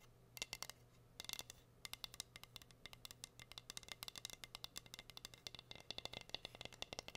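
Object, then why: Wooden heart-shaped cutting board. Long nails rapidly tap and scratch a plain, solid, flat wooden heart-shaped cutting board held upright. The result is a quick run of sharp, bright clicks with almost no ring, over a low steady hum.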